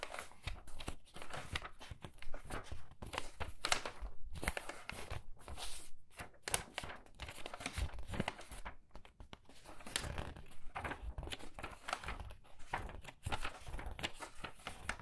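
Thin paper pages of a large illustrated hardcover book, lying open on a wooden table, are flipped rapidly with fingertips and long red nails, and the fingers brush across the pages. The result is a steady run of quick, crisp papery flutters and rustling swishes, with brief pauses between bursts of turning.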